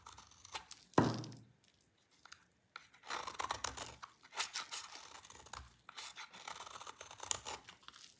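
A small, solid, oval bar of dry soap with green stripes is held in the hand and shaved with a utility knife blade, breaking off crumbly shavings. A loud, sharp scrape comes at about one second, followed by a quiet pause. From about three seconds, a steady run of dry, crunchy, tearing strokes with bright edges continues to the end.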